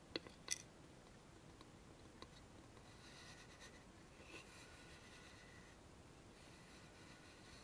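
A small, hollow, rectangular wooden box with a hand-painted sun design is held in both hands and tapped with long nails on the lid and sides, then turned over to show its painted bottom. A few sharp, bright clicking taps come near the start. They are followed by a quiet stretch of faint, high, scratchy handling sounds as the box is turned.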